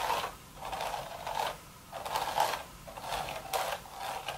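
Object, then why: Woven straw hat. Long red nails scratch across the woven surface of a hollow, empty straw hat crown. The result is dry, rasping bursts centered in the mid range, with bright texture on top. Each burst swells and fades in repeated strokes.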